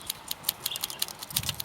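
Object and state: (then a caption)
Dry sweet pea pod with seeds loose inside. Dried brown sweet pea pods are tapped outdoors on an allotment, giving about nine dry, high-pitched rattling clicks from the loose seeds inside. The audible seeds show the pods are ready to harvest for seed saving.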